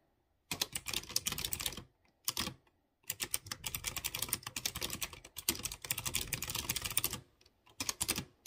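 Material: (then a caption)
Plastic. Fingertips with short dark-painted nails rapidly tap a light blue plastic mechanical keyboard with typewriter-style round chrome-rimmed keycaps on clear-housed blue switches. Dense, bright, crisp clicks come in several bursts of fast typing, separated by short silent pauses. Each click is sharp and dies away almost at once.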